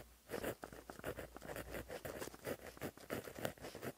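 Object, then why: Gel pen on a paper notebook page. A plastic-barrel gel pen with a metal tip, held in the fingers, writes across a flat black lined paper notebook page lying as a solid sheet on a surface. The tip scratches along the paper in quick, dry, papery strokes that come in short bursts with brief pauses between them. The sound is quiet and close, with a soft midrange scratch and a faint bright edge.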